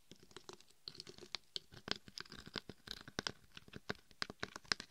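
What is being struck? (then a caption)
Glitter-coated dummy head microphone. Long nails scratch over the red-and-gold glitter-coated surface of a binaural dummy head microphone, across the top and sides, while a forearm rests on top. A quick series of short, dry, gritty scrapes comes through, bright and crisp with little low end and no ring after each stroke.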